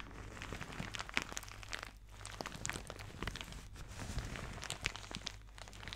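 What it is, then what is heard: Plastic shower cap. A thin white plastic shower cap with blue polka dots, soft and empty, is held in both hands and crumpled and rubbed with fingertips and nails close to the microphone. Quiet, continuous crinkling and crackling fills the clip, with bright, sharp crackles over a low steady hum.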